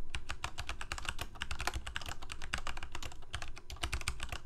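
Fingertips of both hands type rapidly on a full-size Corsair K68 backlit plastic mechanical keyboard with Cherry MX Red switches. A dense, steady stream of short, clacky key taps with a deep low thump under each and bright clicks on top, with faint music in the background.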